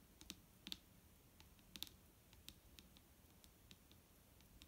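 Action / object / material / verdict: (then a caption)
tap / plastic liquid bottle / plastic / none. Long fingernails on both hands tap a large, clear plastic micellar water bottle with a green cap, full of liquid and lying on a wooden table. About fifteen quick, light, irregular taps give bright, dry clicks peaking around 3.6 kHz that die away almost instantly, over a faint low background hum.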